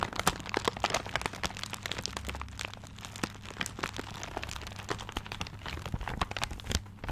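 Fingertips scratch and crinkle the tiger-print wrapping paper on a paper-wrapped gift. Dense, continuous crackling and crinkling is broken by many sharp, bright clicks, over a steady low hum.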